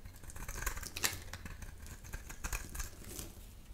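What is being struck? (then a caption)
Round bar of soap. A solid, dry, round bar of soap, white inside with a black outer layer, is held in one hand while thin layers are scraped and carved off with a utility knife blade. The clip is a run of crisp, bright scraping and shaving strokes with sharp little crackles, over a faint low rumble.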